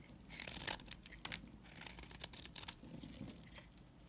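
A coral bar soap is scraped with a utility knife, producing crumbly shavings. The sound is a series of quiet, bright, dry crackling scrapes and crunches with short sharp bursts and little low end.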